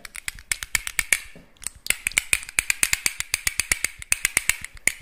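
A small, hollow, whole clam shell about the size of a palm coin, with both halves closed, is held in the fingertips and clicked and rubbed by the fingers. About 32 short, dry, bright clicks ring at around 2.3 kHz, with a brief softer rubbing pause near the 1.5-second mark before the rapid clicking resumes.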